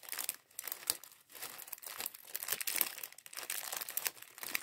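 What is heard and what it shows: Fingertips squeeze and crinkle a small clear plastic bag full of grey and white LEGO plastic bricks from the LEGO Mindstorms mini bot set 40413. The bricks rattle inside. The result is a rapid run of bright, dry crinkles and light clicks with almost no low end, each one cutting off instantly.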